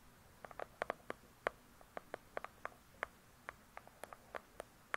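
Long pointed acrylic nails tap and scratch on the glossy paper-covered cardboard cover of a large, solid hardcover book lying flat. About twenty quiet, sharp, dry clicks come in an uneven rhythm, each dying away almost at once, with a clear midrange knock and a bright, crisp top over a soft hiss.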